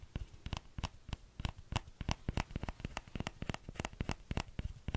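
Fingertips tap the hollow bowl of a small orange plastic ladle in a quick, uneven patter of about two dozen taps over five seconds. Each tap is a short, dry, low knock with a bright clicky edge and almost no ring, so the taps stay soft and close together.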